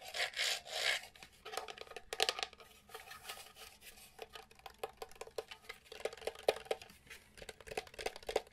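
A small, hollow, light-grey plastic SNES Mini console is held in both hands and turned over while fingertips and nails rub and scratch its ridged vent grille and casing. The result is a dry, bright rasping with bursts of quick, clicky scratches and soft rubbing that stop dead with no ring.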